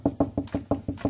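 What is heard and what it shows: Knuckle-style knocking on a painted drywall kitchen wall over a wooden stud, done to locate the studs. Seven short, dull knocks with a low-mid thud and almost no ring or high-frequency content. The knocks sound solid, showing a stud is behind the wall at that spot.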